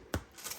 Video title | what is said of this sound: Homemade Italian Bread without a bread machine | If you turn it over and thump it, and it sounds hollow, it's done.